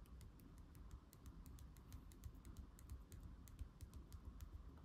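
Fingertips and nails tap and scratch the glossy back cover and edge of a thick laminated cardboard board book lying back cover up on a table. The result is a rapid run of soft, dry clicks over a low rumbling bed, with each tap dying away almost instantly.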